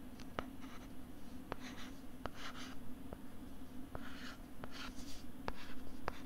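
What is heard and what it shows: A stylus writes on a flat pink plastic LCD writing tablet held close to the mic, making soft, scratchy strokes. The strokes are broken up by nine sharp, brief ticks of the stylus tip against the plastic, all over a low, steady hum.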